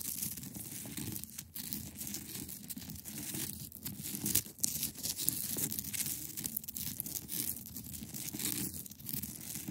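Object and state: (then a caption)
Ice block scratched with nails. Long acrylic nails on both hands scratch across the top of a large, solid, clear ice block. The result is a steady, dense, raspy scraping with a bright hiss and a low rumbling texture underneath, broken by a few sharper, louder strokes.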